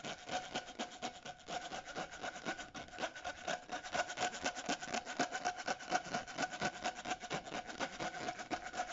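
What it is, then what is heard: Corrugated plastic tube scraped. Short natural nails scratch and rub along the ridges of a purple, ribbed, hollow, flexible plastic corrugated pop tube held in both hands. The result is a quick series of dry, raspy scrapes at a fairly steady pace of about two per second, with a faint hollow tone near 700 Hz ringing through the bright, papery texture.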